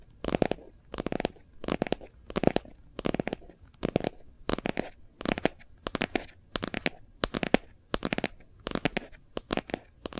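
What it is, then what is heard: Plastic phone case. Nails and fingertips of both hands tap quickly on the back surface of a hard plastic phone case with a gold foil print. Dry, clicky taps come in short, rapid bursts, each with a low-mid body and bright, crisp edges. The taps die away almost instantly, with no ring.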